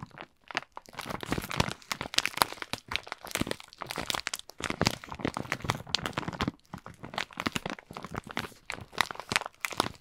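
A plastic Kinder Schoko-Bons bag filled with wrapped chocolates is held in both hands and squeezed and crinkled with the fingers. Dense bursts of bright, sharp crinkling and crunching fill the clip, broken by brief quiet gaps. Each crackle dies away almost instantly.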